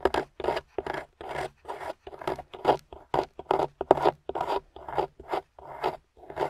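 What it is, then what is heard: Plaster block being scraped. A small metal spoon pick, held by a hand with long pink nails, scrapes the white plaster top of a solid gold-painted plaster excavation bar. About twenty short, gritty rasping strokes come in an uneven rhythm, each a dry scratch with no ring.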